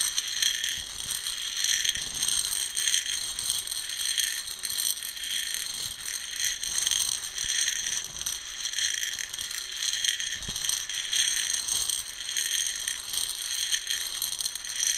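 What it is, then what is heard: Coffee beans in a plastic container. Fingers rake and stir roasted coffee beans in a round plastic container, producing a steady, dense, bright rattle of tiny clicks centered around 3 kHz with almost no low end. The rattling swells and eases in loose waves as the beans are churned.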